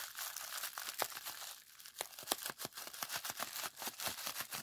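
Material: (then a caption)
Plastic. Fingers squeeze, pinch and stretch a clear plastic bubble wrap roll and sheet with hollow bubbles. The result is a quiet, bright, continuous crinkling dotted with many short, sharp pops and snaps, with almost no low end.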